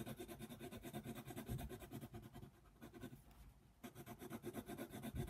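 A yellow colored pencil scratches and rubs across a flat paper coloring book page in quick back-and-forth shading strokes. It makes a steady, quiet, papery rasp with a low scratchy body. The strokes soften briefly in the middle, then pick up again at full pace.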